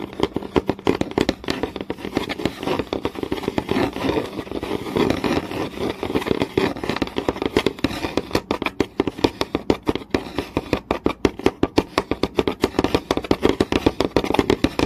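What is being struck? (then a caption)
Wooden board. Long nails tap fast and scratch across a flat, solid wooden board with visible grain. A dense stream of quick, dry clicks with no ring sits over a steady scratchy rustle, the sound mostly in the low mids with little deep bass or brightness. The taps become sharper and more distinct toward the end.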